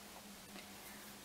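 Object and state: Nothing is struck.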